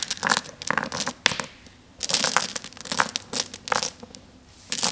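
Many small, solid, flat glass gems spread on a table are swept and rubbed around under a flat palm and fingers. Bursts of bright, dense clicking and rattling come in clusters, separated by short quiet pauses, with almost no low end and no ringing tail.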